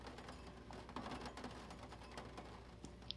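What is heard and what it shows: Fingertips of both hands tap and scratch across the pages of an open vintage paper catalog. The result is a quiet, steady run of soft, dry taps and papery scratches with short crisp ticks, over a faint low hum, ending with a sharp bright click.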